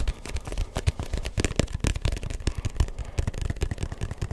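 A neon yellow-green hollow rubber ball with a textured surface is held in one hand and tapped rapidly with the fingertips of the other. The result is a dense stream of soft, dull, low thumps that stop short with no ring.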